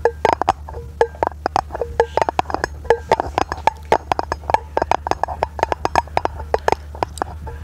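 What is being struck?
Round aluminum lid.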